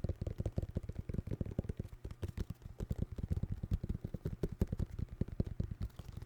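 A pair of white New Balance 608 sneakers, made of synthetic leather with rubber soles, is tapped rapidly and repeatedly. The taps are dull, low thuds with almost no high-frequency content, each dying away almost instantly in a steady stream over about six seconds.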